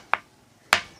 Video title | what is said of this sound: एक ऐसा मंदिर जिसमे पत्थरों में से आती है घंटे की आवाज - काकुन प्राचीन मंदिर - बुंदेलखंड वीडियो | उससे कुछ भी आवाज नहीं आती उससे पत्थर की आवाज आएगी